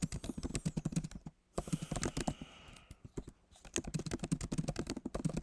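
Fingertips of both hands type quickly on a backlit MacBook Pro keyboard with plastic keys set in a solid aluminum body. Dense runs of short, soft clicks carry a low, thocky body and die away almost instantly. The typing stops in two brief pauses before resuming.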